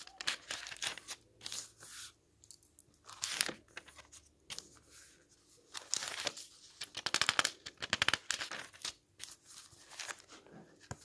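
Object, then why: Paperback book with paper pages. Fingertips turn and flip the thin printed paper pages of an open paperback book lying on a wooden table. Each turn gives a quick, bright papery swish and crinkle, some faint and some sharp, in an uneven series with short quiet gaps and almost no low end.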